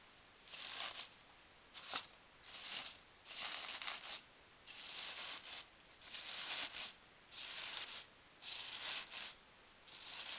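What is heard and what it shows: A hand with long dark-painted nails presses and rubs across loose green foam packing peanuts filling a cardboard box, making bright squeaking and rustling sounds. The sound comes in short separate bursts with quiet gaps between them. It is almost entirely high-pitched, with no low rumble.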